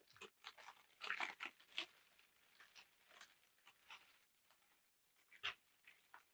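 A large sheet of thin black packing tissue paper is held up and crinkled and crumpled with both hands. Quiet, bright, papery crackles come in uneven bursts, with the loudest clusters near the start and a sharp rustle late in the clip, and little low-end content.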